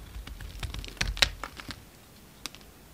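A solid block of green bar soap is held in the hand while chunks are carved off it with a blue utility knife. Short, bright cuts and crisp scraping snaps come in quick succession, the sharpest near the middle. After that they thin out to a quieter, isolated snap.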